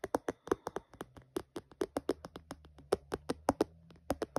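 Fingertips and short nails tap and drum on the clear back panel and edges of an empty, hollow, phone-sized clear plastic phone case with a red bumper, lying on a dark patterned surface. A quick, uneven run of about 26 dry, hollow clicks and taps sounds, each snapping off almost instantly with a mid-toned plastic knock.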